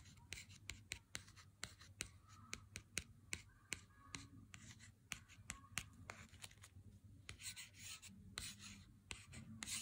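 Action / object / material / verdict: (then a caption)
tap / cardboard chocolate bar box / cardboard / none. A fingernail taps and scratches along the printed gold-foil lettering on the cardboard sleeve of a Lindt chocolate bar held in hand. A quick run of sharp, dry, bright clicks stops almost instantly, with soft scratchy rustling between them. A faint low hum sits underneath throughout.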